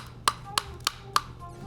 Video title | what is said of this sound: 45 Red Flags & Green Lights When Buying Fish - Epicurious | It sounds hollow. It will just tap it and you can hear that.